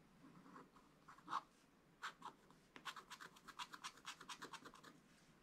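A wooden stylus scratches the clownfish area of a black wax-coated scratch-art card. Quiet, dry scratch strokes with bright, hissy edges come in scattered bursts at first, then settle into a quicker run of short strokes. Each stroke stops dead with no ring.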